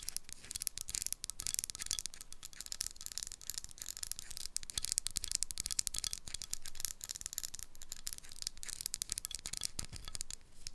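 Long nails tap and scratch the paper label on the metal screw lid of a small dark glass jar, giving a dense run of quick, dry clicks and rough scratching. The sound is bright and crisp, with short ticks that die away at once, plus a low rumble under the strokes.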